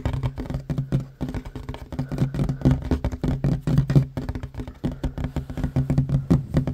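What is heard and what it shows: Both hands tap fast with short fingernails on a flat, solid wooden tabletop. The result is a dense, continuous patter of quick, dull knocks, mostly low and thumpy around 133 Hz with almost no bright top. Each tap dies away almost instantly.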